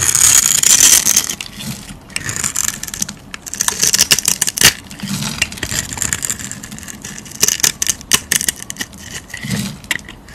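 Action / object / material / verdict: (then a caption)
scrape / soap bar / soap / none. A metal knife blade scrapes and cuts along the scored surface of a solid orange soap bar with pink edges held in the hand, breaking off crumbly cubes and slabs. Bright, crisp scraping and crackling dominate, with sharp little snaps as pieces break away, and almost no low end.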